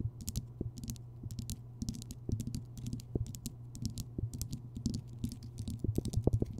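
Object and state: Himalayan rock salt lamp.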